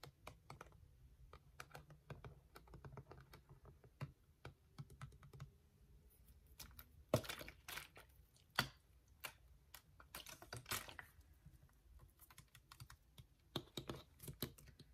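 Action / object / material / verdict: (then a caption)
tap / ridged plastic water bottle / plastic / none. A clear, hollow, ridged plastic water bottle with a white cap is held in the hands while fingertips and nails tap and scratch its ridged sides. Quiet, irregular, dry clicks and crinkly scratches with very short decay come through, with a few sharper, louder taps in the middle. A low rumble sits underneath.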